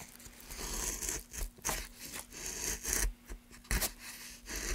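A gouge scrapes and cuts long grooves into a solid pale softwood block held in a gloved hand, curling off shavings. A series of rough, hissing scraping strokes rise and fall with brief pauses between them, each carrying a bright, airy edge over a faint low hum.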